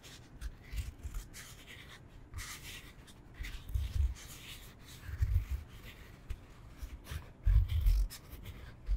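A solid rectangular foam yoga block is held upright in both hands and tapped and scratched with fingertips and nails. Soft, dull low thumps are mixed with faint, bright scratching. The loudest thumps come near four, five and seven-and-a-half seconds.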